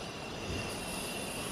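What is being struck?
Nothing is struck.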